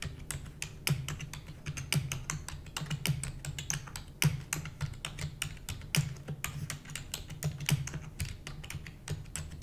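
A full-size black plastic computer keyboard with hollow keys is typed rapidly with the long nails and fingertips of both hands. Fast, uneven streams of sharp, bright clicks ride over a hollow low thump from each keystroke. Every tap dies away almost at once.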